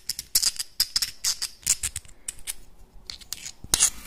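Small, hard, hollow clam shells held in both hands are rubbed and scraped against each other and scratched with the nails. The result is a rapid series of crisp, bright clicks and scratchy scrapes, mostly high-pitched with little low end, and each one fades almost at once.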